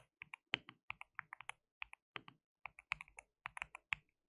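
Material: Plastic.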